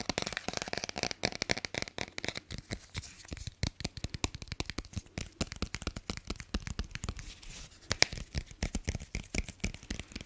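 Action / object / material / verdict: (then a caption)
scrape / hardcover cardboard book cover / cardboard / none. Fingertips and nails rapidly scratch and tap the glossy cardboard cover of a small, closed hardcover children's picture book ("Bruno") held close to the microphone. A dense stream of short, dry, crisp taps and bright scratchy rasps runs steadily through the clip, with no ringing after each hit.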